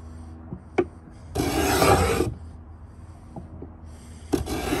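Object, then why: Pine wooden box edge scraped with a metal beading scraper. A metal beading scraper, held in both hands, is drawn along the corner edge of a pine wooden box. A steady low hum is broken by a few sharp taps before one long, bright, rasping scrape runs along the wood. It falls back to the hum, and a second scrape starts at the end.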